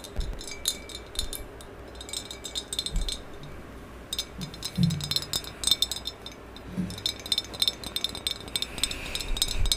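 A medium maroon glossy hollow ceramic vase is tapped and scratched with long yellow acrylic nails, first held horizontally and then upright. Rapid, bright clicking taps come in clusters with a dry scratching texture under them and brief low thuds from the hollow body. Each tap dies away almost at once.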